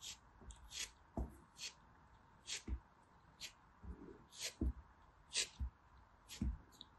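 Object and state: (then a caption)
Pressed soap being scraped and sliced. A solid, pink, multicolor-speckled pressed soap turtle is held in the hand while a metal blade scrapes and slices through its crumbly texture. Short, dry crunching scrapes repeat in quick bursts, each with a bright hiss over a soft low thump, against a quiet background.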